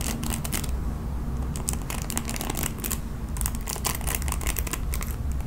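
Long nails rake repeatedly across the bristles of a red plastic paddle hairbrush, making quick, bright, scratchy bursts. The rasps come over a steady low rumble that runs through the whole clip.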